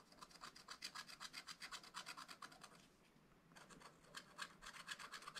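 A wooden stylus rubs and scratches repeatedly across a black-coated scratch-art page in a spiral-bound book, clearing small areas of coating. Quick, bright rasping strokes come at about four per second, pause briefly near the middle, then resume with the same dry, scratchy rhythm.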